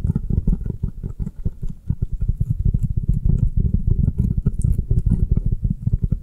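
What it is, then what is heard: Foam kitchen sponge. Long nails tap and scratch the printed face and side of a round, avocado-shaped foam kitchen sponge held in the hands. They make a fast, steady stream of soft, muffled low thuds with almost no high sound, each tap dying away almost instantly.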